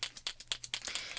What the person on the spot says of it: it's called the Marvy snow marker and you want to shake it up you can hear the beads in there